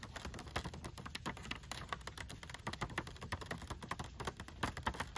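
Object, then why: Paper-wrapped cardboard box. Long nails rapidly tap and scratch the top and front edge of a medium rectangular cardboard box gift-wrapped in white nutcracker-print paper, likely hollow. The result is a quiet, continuous stream of dry, crisp clicks and papery scratches over a soft, low hollow thud, each tap dying away almost instantly.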